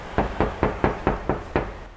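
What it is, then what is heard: Hollow-sounding car body panel without sound deadening. Seven quick knocks on the steel body panel of a Toyota Innova with no sound-deadening material fitted, for comparison with a fully treated Honda HR-V. Each knock gives a hollow, resonant thud with a mid-range ring around 430 Hz that fades within a fraction of a second. The untreated panel sounds hollow rather than solid.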